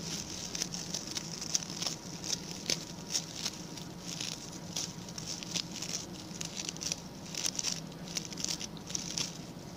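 Fingertips and nails scratch the stiff brown bristles of a small, round, ring-shaped coir (coconut fiber) brush with a pink plastic handle. The result is a quiet, dry, bright crackling patter in short, irregular bursts with almost no ring, over a faint steady low hum.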